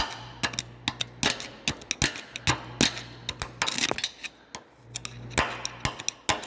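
On a diesel FJ Cruiser, a rusty steel front lower control arm is tapped and scraped with a series of sharp, bright metallic ticks and short scraping bursts over a steady low hum. The arm looks badly rusted but is not rusted through, so it passes.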